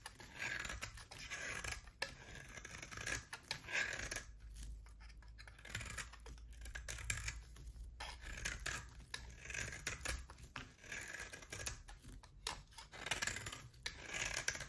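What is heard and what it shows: A utility knife blade shaves thin curls from a solid oval bar of hard soap with a pale core and a black rim. The clip is quiet, with repeated crisp scraping and soft crackling strokes, bright and papery, with a faint low hum underneath.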